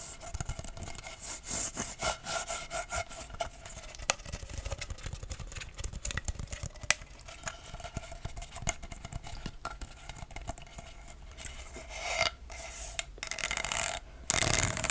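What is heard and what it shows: A hollow blue corrugated plastic pop tube toy is stretched and compressed by hand while long nails scrape across its ribbed segments. This makes a steady, bright, ratchet-like rasping of dense clicks, with faint whistling tones around 600 Hz and 1.3 kHz. A louder burst of scraping comes near the end.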